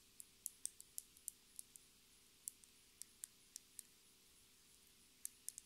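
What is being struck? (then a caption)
Small plastic lip gloss tube with cap. Long red nails tap and scratch a small, clear plastic lip gloss tube filled with pink gloss and topped with a metallic cap. Around seventeen quiet, bright, dry clicks come in irregular bursts, with a pause of more than a second before the final few, over a faint steady low hum.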